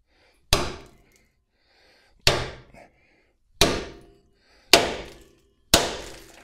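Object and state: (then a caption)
Axle bearing fully seated in the axle tube. A chilled steel axle saver bearing is hammered into a Blazer rear axle tube with a driver tool, giving five sharp, metallic strikes spaced about a second or more apart, each decaying quickly. The strikes sound solid, showing the bearing has bottomed out and is fully seated, with its stick-out about 1/8 to 1/16 inch smaller than before.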